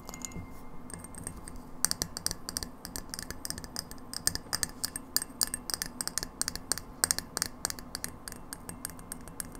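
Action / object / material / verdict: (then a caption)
tap / frosted glass light bulb with metal screw base / glass / none. A hand-held, hollow, empty frosted white glass light bulb with a metal screw base is tapped by long acrylic nails. The taps come as a rapid, irregular stream of short, bright clicks that die away almost instantly. A low hum sits underneath.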